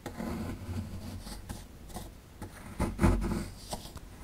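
A metal pick tool scrapes at a small, solid plaster excavation block held in the hand, breaking off crumbling chunks. The sound is a low, gritty scraping and crunching, with a few sharper, louder scrapes near the end.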